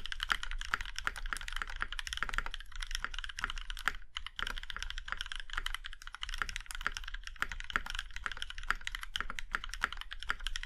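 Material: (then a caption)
Aluminum. A compact mechanical keyboard with a plum-red aluminum case and black keycaps is typed on by the fingertips of both hands, producing a steady stream of short, crisp key clacks. Each tap is a quick click with a bright top and a soft low thud underneath, and the keystrokes overlap too densely to count reliably.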